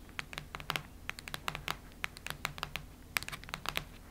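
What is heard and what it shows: Long nails scratch and tap the cardboard surface of a cactus-print hardcover notebook lying flat. Nineteen quick, dry, bright clicks and scrapes land in an uneven rhythm, each stopping almost instantly over a faint low background.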